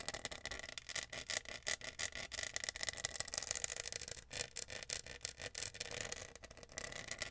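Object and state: Plastic studded tumbler.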